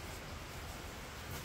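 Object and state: Nothing is struck.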